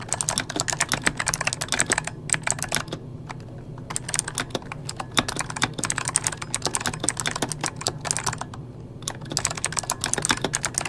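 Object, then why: Mechanical keyboard with plastic keycaps. The fingertips of both hands type fast on an RGB-backlit mechanical keyboard with plastic keycaps. Dense, bright, crisp key clicks with short, dry decays come in rapid bursts, with brief lighter pauses near the two-second and eight-second marks over a low steady hum.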